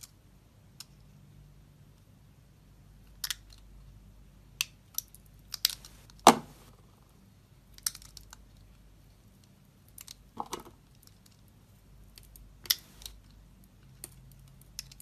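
A knife blade carves and scrapes soft curls from a solid oval light-blue bar of soap held in the hand. Short, crisp, bright scraping clicks and snaps come in irregular bursts against a quiet, low hum, with one sharper crack near the middle.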